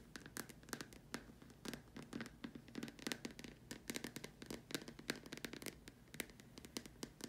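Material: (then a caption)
Plastic. Long dark stiletto nails tap and scratch the curved surface of a large, hollow, white opaque plastic dome lamp shade with a hole in the top, resting on a cloth. A quick, uneven run of short, dry clicks and scrapes follows, each bright and gone almost at once, over a faint low hum.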